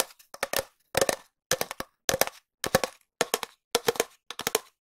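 A long hollow cardboard tube, held horizontally over the mic, is tapped with long nails and fingertips. Eight short bursts of quick, dry clicks and taps carry a hollow tone around 530 Hz, with brief silences between them. Each tap dies away almost instantly.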